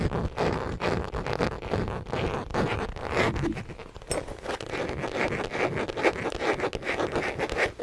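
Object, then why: Small leather crossbody bag. Long acrylic nails tap and scratch across the surface of a small, hollow tan/orange leather (possibly faux) crossbody bag held in front of the mic. The result is a dense, irregular stream of quick clicky taps mixed with rough, zipper-like scraping.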